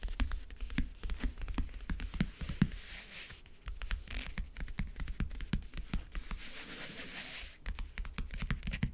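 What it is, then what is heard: Backgammon case lid tapped and scratched with nails. Long nails tap and scratch across the map-print lid of a closed, hollow backgammon case. Rapid, sharp, hollow taps with a low body alternate with stretches of bright, hissy scratching.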